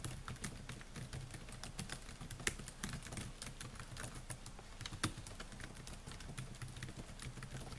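Fingertips type rapidly on the plastic keys of a silver Dell laptop with a metal and plastic body. The result is a quiet, steady stream of short, dry clicks and taps over a low background hum, with a couple of sharper, louder keystrokes standing out.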